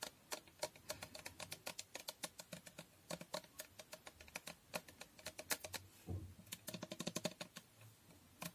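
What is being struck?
Glass fragrance bottle.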